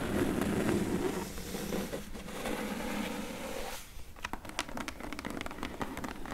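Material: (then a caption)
Cardboard. Long nails scratch and tap along the top edge and corner of a medium, closed, hollow corrugated cardboard shipping box. A steady rough scratching with a low hollow tone fills the first few seconds, then gives way to a quick, uneven run of sharp, bright taps.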